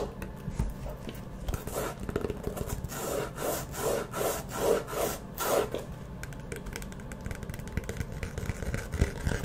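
Long nails scratch and tap along the cover of a small hollow map-print faux leather hard-shell Firmoo glasses case as it is turned in the hands. The sound is a quiet, dry, rhythmic rasping, with a run of swelling scratch strokes in the middle and fainter rubbing and light taps on either side.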